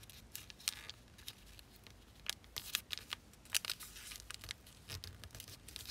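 Fingers and long nails press and slide along the folds of thin zebra-print origami paper, folded into an elongated figure lying on a black table. The rubbing and creasing produce quiet, bright crinkling with a scatter of short, sharp crackles that die away instantly. There is very little low end throughout the six seconds.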